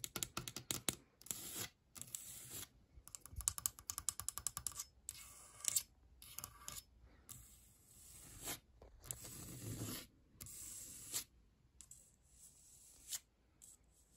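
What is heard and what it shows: Long pointed nails scratch and tap across a large, flat cabinet door with a wood-grain veneer finish, likely laminated particleboard, with a metal handle at its edge; a flat hand also taps it. Bursts of quick, dry, bright clicking taps alternate with longer raspy scraping strokes, separated by short silences. Each sound is crisp and stops almost instantly, with little low end or ring.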